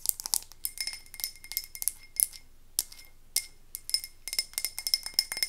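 Long acrylic nails rapidly tap and scratch the sides of a medium frosted white-and-navy glass candle jar with a paper label and filled with wax, held in both hands. Quick, bright glassy clicks and clinks come in uneven bursts with very short ring, and a faint high tone sustains through the taps.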